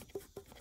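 The aluminum piston in the middle cylinder of a Yamaha Pro 50 two-stroke outboard, which has 60 psi compression and aluminum smeared on the cylinder wall, is brought to top dead center and wiggled by hand. Three short, dull clacks ring out at around 400 Hz with almost no ring. They show the melted piston is loose and worn in its damaged bore.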